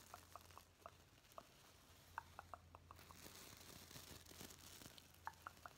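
Fingertips brush and scratch up and down over the plastic sequins of a gold and black reversible sequin pillow held upright, flipping them. A quiet, soft scratchy rustle is broken by short, sharp clicking ticks, with a steady low hum underneath.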